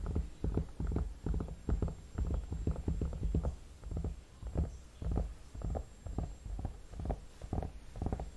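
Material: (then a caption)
Soft vinyl. Fingertips and short nails tap and rub the cheeks and temples of a hollow, soft vinyl/plastic mannequin head with a painted face, held up close. The result is a quick, uneven series of soft, dull, low thumps with almost no bright content, each dying away almost at once, mixed with faint rubbing between the taps.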